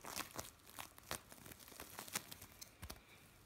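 A lump of blue bead play foam is squeezed in the hands, then pressed flat with the palms. It makes a quiet run of short, dry crackles and crunchy pops, bright and crisp, with tiny beads snapping in quick irregular bursts that stop almost instantly.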